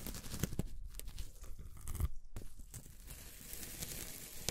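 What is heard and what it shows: A white plastic scraper blade cuts a flat, solid slab of beige kinetic sand on a white table into a grid of squares, then its plastic tip presses small notches into the sand. Soft, low, crumbly crunching and tearing scrapes are broken up by short, sharp clicks and presses.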